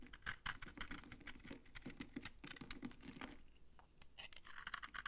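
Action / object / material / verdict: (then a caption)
scrape / bar of soap scraped with a blade / soap / none. A utility knife blade scrapes a palm-sized solid bar of dry orange soap, shaving off crunchy orange curls. Quick, dry, crackly scraping strokes follow one another with no ring, with a brief quieter stretch before the scraping picks up again near the end.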